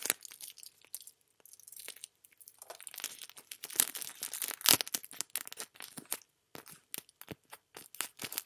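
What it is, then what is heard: Cellophane wrap being crinkled. A thin sheet of clear cellophane wrap, with a dark blue item behind it, is crumpled and crinkled between fingertips with dark-painted nails. It makes dense, bright crackling with many sharp, quick snaps that peak in a louder crunch partway through.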